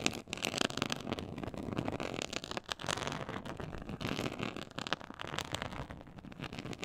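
Long acrylic nails scratch the textured surface of a black quilted faux-leather board lying flat on a pink fur rug. The sound is a dense, continuous crackly scratching that fills the mid range and reaches up to bright highs. It is made of many quick overlapping strokes with no clear gaps between them.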